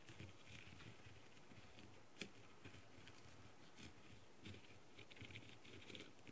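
A green tool with a clear plastic tip scratches across the gem surface of a blue, rhinestone-covered plastic masquerade mask. The result is a quiet, steady patter of soft scratching with faint bright crackles and one sharp tick partway through.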